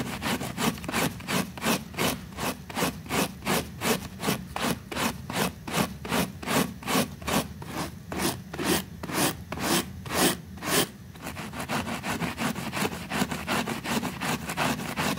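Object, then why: Small woven fabric rug scrubbed with a bristle brush. A white bristle brush scrubs a small, flat, pink woven textile rug that is wet and foamy and held down with one finger. Rhythmic, bright, scratchy swishing strokes repeat at about two and a half per second. After about 11 seconds they blur into a continuous, softer scrubbing.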